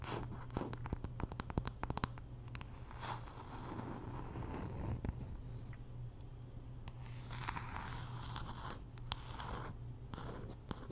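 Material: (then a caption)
Wood. Long nails scratch and tap on the solid wooden back of a wooden paddle hairbrush with pins, making quick dry clicks and rough scraping strokes. A steady low hum runs underneath throughout.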